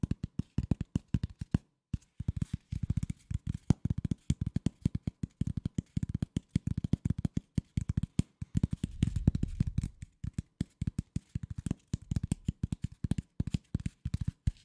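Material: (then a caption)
Cardboard. A flat corrugated cardboard sheet is held in both hands close to the microphone while fingertips and nails tap and scratch it quickly. Dense bursts of short, dry, hollow taps with a low thud carry on throughout, and a stretch of rougher scratching comes in around the middle.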